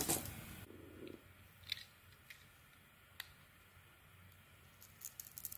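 A metal blade carves and peels the purple and green metallic coating off a solid Penaten soap bar held in hand, exposing the white soap underneath. It opens with a louder crackly scraping burst, then settles into quiet, with sharp, bright scratchy clicks and flakes that become busier toward the end.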